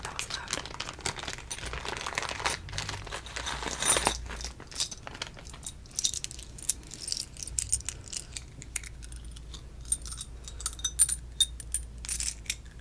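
Classic Monopoly metal playing pieces are handled, shaken and dropped in the hand. The sound is a steady stream of bright, jingling metallic clinks, like jewelry, with short quick rattles and a low hum underneath.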